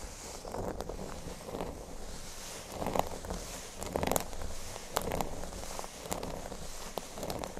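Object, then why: Cork board. Fingernails scratch near the top edge of a large, flat, solid cork board shaped like a speech bubble. Soft, rough scratching comes in uneven strokes with a dull mid-range body, a low rumble underneath, and occasional brief crisp ticks.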